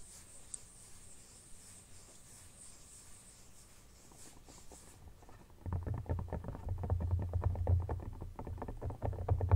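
An empty, soft red silicone phone case lies flat on a blanket while fingertips gently rub it, making a faint, airy brushing for about five seconds. Fingertips and nails then tap and scratch the back rapidly, giving a dense patter of soft, dull, low thumps with quick scratchy clicks that grows louder toward the end.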